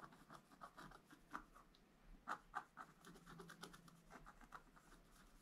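A wooden stylus scratches fine lines into the black layer of a flat black-coated scratch art paper sheet in a book. Quiet, quick and irregular scratchy strokes sound with a papery midrange rasp and a bright hiss, and a few louder strokes stand out in the middle.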